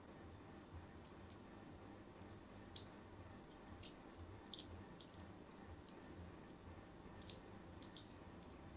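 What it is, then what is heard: Bar of soap being scored. A thin blade scores crosshatch lines into the surface of a solid white bar of soap held in the fingers. About ten short, bright, crisp scratching cuts stand out against a quiet, steady low rumble. Each cut dies away almost instantly.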